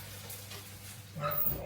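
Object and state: Nothing is struck.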